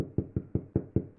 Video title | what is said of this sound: Sourdough Bread Made with Cheap Supermarket Flour | you can tell bread's ready when you tap it on the bottom like that and it sounds hollow that's when you know it's ready inside